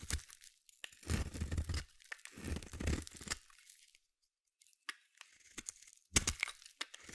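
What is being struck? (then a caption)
Bar soap shaved by a small metal blade. A small metal blade shaves and scrapes long curls off the edge of a palm-sized solid purple bar of soap. Dry, crunchy tearing strokes come in two longer bursts with a low rumble beneath them, then shorter, bright scrapes follow after a brief silence.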